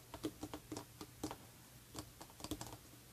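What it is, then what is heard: Paper magazine. Long red-painted nails tap the edge and cover of a closed, glossy paper perfume booklet or magazine held upright. They make an irregular series of quick, soft, dry clicks with almost no ring, over a faint low hum.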